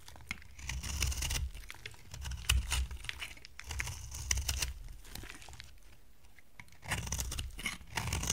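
A utility knife blade scrapes a dry, solid brown-orange amber soap bar into dry curls, giving repeated crisp, crackling scrapes with bright crunchy edges over a low rumble. The scraping comes in bursts separated by quieter pauses.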